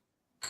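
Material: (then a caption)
Bronze filament. A 3D-printed coin made from bronze filament and polished in a metal polisher is clinked once after near silence, giving a short, bright, high-pitched tick that fades quickly. It sounds like metal rather than plastic.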